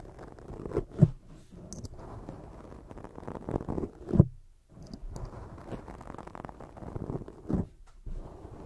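Long jeweled nails cover a black foam microphone windscreen and scratch it from the front. The result is a dense, muffled, low rustling and crackling scrape, mostly deep and dull, with a few louder thumping bumps along the way.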